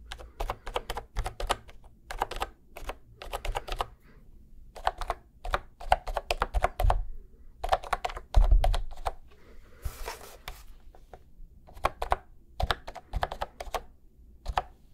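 Fingertips tap the round keys across both sides of a cream plastic retro keyboard held horizontally. The result is bursts of quick, dry plastic clicks with a soft low thump under each press, separated by short pauses. A brief airy hiss rises near the middle before the tapping resumes.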